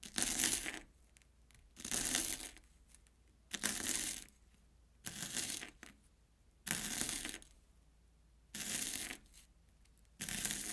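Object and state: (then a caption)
Corn puff snack being sliced. A steel kitchen knife slices an airy Banana Kick corn puff stick into thin rounds on an orange plastic board. Seven separate bursts of bright, dry crunching and crackling are heard, each cut followed by a short quiet pause.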